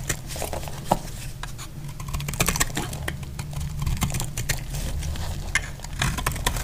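A solid, dry yellow soap bar is held in the hand and cut and scraped with a metal utility blade. Quick, crisp clicks and brittle scraping sounds patter along unevenly over a steady low hum, with a few sharper snaps standing out.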